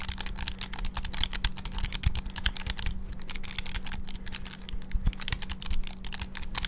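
A small black plastic flip-open clamshell handheld game console, held over the microphone, has its buttons clicked rapidly with the fingertips. The result is a fast, dense stream of short, dry, bright plastic clicks with no ring, over a steady low hum.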